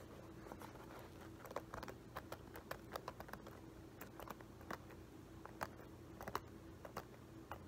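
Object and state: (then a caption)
Leather loafer tapped and scratched. Fingertips and nails scratch and tap the upper and metal horsebit buckle of a hollow, empty, dark embossed leather-look loafer held in the hands. Soft, dry ticks and clicks come in an irregular, patter-like run, with a few sharper taps standing out over a quiet, steady low hum. Each tap is brief with almost no ring.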